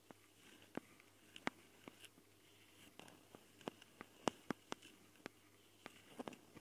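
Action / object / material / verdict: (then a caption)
tap / metal mesh microphone grilles on a handheld recorder / metal mesh / none. Long, dark-painted fingernails of both hands scratch and tap directly on the metal mesh grilles of the two X/Y mic capsules, in hollow red and black plastic housings, on a small handheld Tascam recorder. Heard close-up, the handling gives a quiet, scattered run of sharp, dry clicks and brief scratchy ticks that stop instantly with no ring, over a soft, faint hiss.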